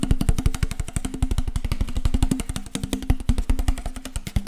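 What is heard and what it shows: Fingertips and nails rapidly tap and scratch the ridged sides of an empty, hollow, clear PET water bottle with a teal label, held in one hand close to the mic. The result is a fast, continuous stream of dull, boomy low thumps with a faint crinkle of plastic. The taps are short and dry, with almost no ring.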